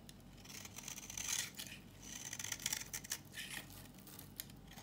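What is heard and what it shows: A solid, dry red bar of soap, held in the hand, is scraped and shaved with a knife blade, producing brittle curls. Bright, hissing scrapes swell and fade in a few strokes, with sharp little crackles and a faint high edge on the blade as the curls break away.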